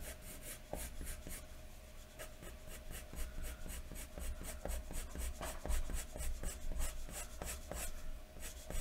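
A wooden graphite pencil, held at the fingertips, is scratched and rubbed across a large, thin white paper sheet lying flat on a wooden desk in hatching strokes to shade hair. Quick, bright, scratchy strokes repeat at an irregular pace over a steady low hum throughout.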